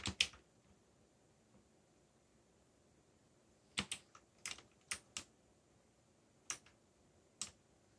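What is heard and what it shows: Slow fingertip typing on a backlit mechanical keyboard with black plastic keycaps and a yellow backlight. Sharp, bright, clicky keystrokes come in uneven, sparse bursts, with a long pause between the first pair and the rest. Each click dies out almost instantly against a quiet background.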